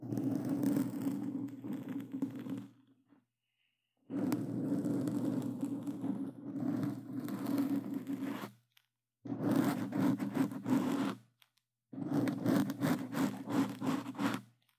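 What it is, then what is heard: Foam microphone cover. Claw-gloved fingers scratch and rub a black foam microphone cover, producing dense, rough scratching and crunching that runs in four long bursts separated by short silences. The sound has a strong low-mid rumble around 100–300 Hz with grainy, brittle scraping texture extending up into the high range.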